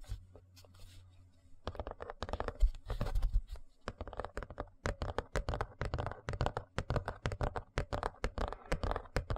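A large, thin, rigid white plastic serving tray, held upright in front of the microphone, is tapped and scratched with fingertips and nails. Soft scratching opens the clip, then a dense run of quick, dull, hollow taps mixed with scratchy rubbing follows. The taps are bass-heavy and die away almost instantly.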